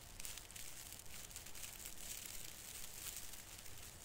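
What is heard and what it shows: Fingertips pinch and rub the tip of a branch on a large plastic artificial fir Christmas tree with thin plastic needles over cotton snow. The result is a soft, steady crinkling rustle with bright, high crackles over a faint low rumble, lasting the whole clip without clear breaks.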